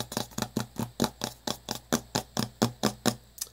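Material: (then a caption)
Metal. Fingertips tap quickly on the paper-labelled lid of a small, round, hollow metal tin held in one hand. About 15 short, dull taps with a faint hollow metallic ring come in an uneven, fast rhythm, each dying away almost at once.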